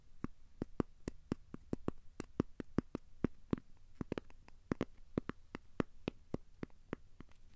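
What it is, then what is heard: Cork coaster. A thin, solid, square cork coaster has its edge and face scratched with short fingernails. About 32 short, dry scratches sound in an uneven rhythm over a low hum, each one a quick crisp tick that dies away at once.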